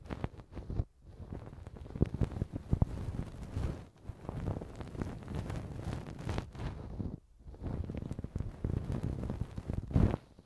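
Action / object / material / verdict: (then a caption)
scrape / silicone ear of a binaural microphone scraped with a wooden pick / silicone / none. A thin wooden earpick scratches and scrapes inside the soft, hollow-canaled right silicone ear of a TASCAM binaural microphone with two skin-toned silicone ears. The result is dense, close, low-heavy rustling and crackling scrapes. Brief silent gaps fall between passes.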